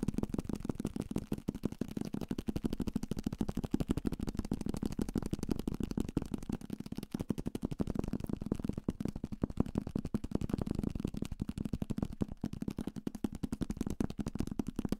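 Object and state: Paperback book.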